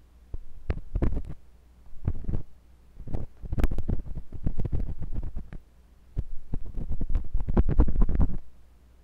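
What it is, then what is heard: Silicone ear of a binaural microphone, probed and scraped. A thin, pointed metal sculpting tool with a wooden handle, held by fingers with long pink nails, scratches and pokes inside the canal of a white silicone ear on a block-shaped binaural microphone. Bursts of deep, thudding, rumbling scrapes come in uneven clusters, with short bright clicks on top, separated by brief quiet gaps.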